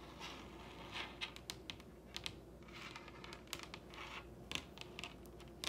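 Long red nails tap and scratch across a large solid wooden table top. Quiet, soft scratchy swells alternate with sharp, bright clicks that die away almost instantly, over a steady low hum.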